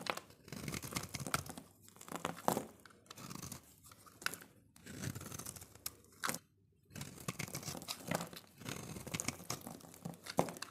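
A solid oval pink soap bar is held in the hand while its surface is shaved and scraped with a metal utility-knife blade, and the shavings crumble off. Dry, crisp scraping and crunching strokes come in quick bursts with bright, gritty texture and brief pauses between them.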